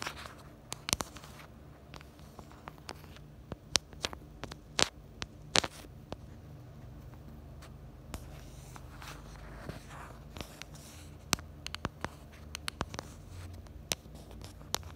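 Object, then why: Plastic phone case. Long glitter and nude acrylic nails tap and scratch the back of a small, hand-held pink plastic phone case near its black camera bumper. Quiet, bright, sharp clicks land at an uneven pace over a soft scratchy rustle and a steady low hum. Each tap dies out almost instantly.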